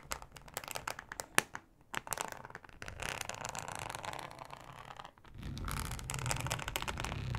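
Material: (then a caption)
Plastic. Long acrylic nails scratch across a thin, flexible, solid yellow plastic cutting mat with a ribbed texture. Sharp, crisp clicks and short scratches give way to a steady, dry rasping. The rasping grows louder and fuller near the end, with a low rumble beneath the bright, crinkly scrape.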